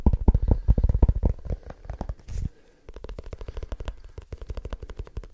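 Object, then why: Small leather-bound book. A small leather-bound book is tapped rapidly with the fingertips, giving a fast, uneven stream of short, dull, low thuds. The taps are loudest for the first couple of seconds, stop briefly, then carry on more softly until the end.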